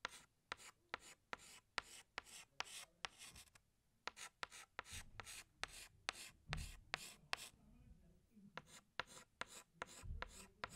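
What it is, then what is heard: Chalk stick on blackboard. A green chalk stick retraces leaves on a flat black chalkboard with short rubbing strokes. A quiet, rapid series of dry, bright, scratchy rasps is heard, each stopping abruptly, with a few soft low thumps in between.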